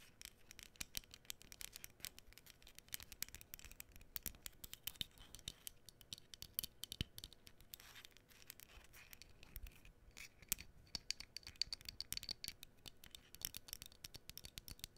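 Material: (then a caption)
Cardboard. Long fingernails scratch and tap across the candle strips and face of a small, flat cardboard menorah decoration. The scratching is quiet, dry and bright, made of rapid, crisp ticks and rasps that stop dead with no ring, occasionally louder at sharper strokes.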